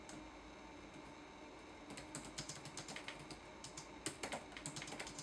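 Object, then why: Plastic laptop keyboard keys. Fingertips type on a red-backlit laptop keyboard with plastic keys. After about two seconds of faint hiss, a quick run of short, bright plastic clicks and taps begins and continues irregularly to the end, each stroke dying away almost instantly.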